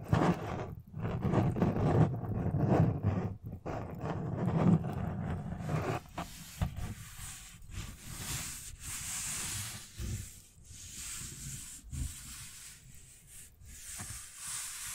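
A large, thin, frosted white plastic tray with a raised rim, hollow and empty, is held in both hands while long nails and fingertips rub and scratch across its surface. Dense, low, rumbling scrapes fill the first six seconds, then give way to quieter, hissy strokes broken by short scratching bursts.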